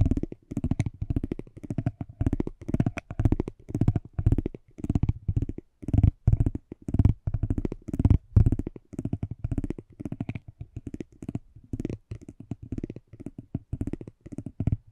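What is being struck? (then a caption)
Cardboard trading card scratched with metal tweezers. Metal tweezers clipped onto a small, flat cardboard racing trading card held in the hand pick and scratch at the card's surface. The result is a dense, uneven stream of quick, dry scratches and taps, mostly low and dull, with short pauses between bursts.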